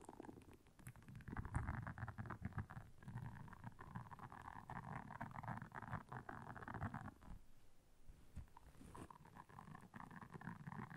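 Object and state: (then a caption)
Silicone scrubber pad. Long nails scratch across the soft bristles of a round, flat, blue solid silicone scrubber pad lying on black fur. The result is a quiet, continuous, rumbling scratch with a heavy low end and a raspy midrange texture, briefly easing off near the middle before resuming.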